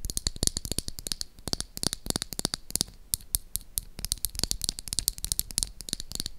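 Long acrylic nails tap and scratch along the side of a small, hot-pink, hollow plastic toy lipstick case held in one hand. A rapid, uneven stream of sharp, bright clicks and taps sounds with a hollow low knock under some strikes. Each stops dead with no ring, and faint scratchy rustling fills the gaps.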